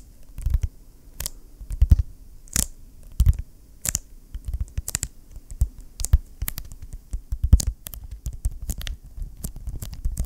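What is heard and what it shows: A closed, large, flat blue vinyl ring binder is held in both hands while fingertips tap and rub its cover. Short, dull, low thuds come at an irregular pace, mixed with brief bright scratchy rubs across the vinyl.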